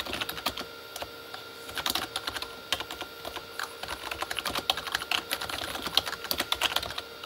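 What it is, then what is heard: Plastic keyboard typing. Both hands type with fingertips on a full-size, hollow Corsair K35 backlit mechanical keyboard with plastic keycaps on a plastic body. A steady stream of quick, bright, clacky taps stops dead with almost no ring and very little low end, over a faint steady tone underneath.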